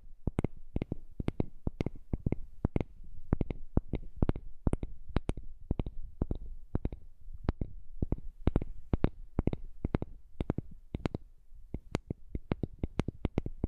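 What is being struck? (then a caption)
Small heart-shaped wooden piece. A heart-shaped piece of wood is tapped rapidly and irregularly, producing dozens of short, dry taps with no ring. Each tap has a soft low thump under a sharp, bright click.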